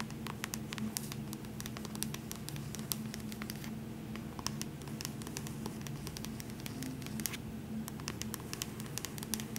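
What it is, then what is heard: Paperback book. A paperback copy of The Hobbit, held upright, has its cover and spine tapped and scratched with long nails. Many sharp, bright clicks and scratchy taps ring out over a soft, steady low hum.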